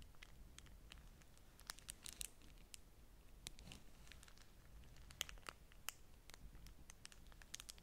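A folded beeswax-coated cotton food wrap, held in one hand above a stack of wraps, is scratched and squeezed by long nails. The stiff waxy cloth gives a steady run of dry, bright crinkles and sharp scratchy ticks over a low, quiet background.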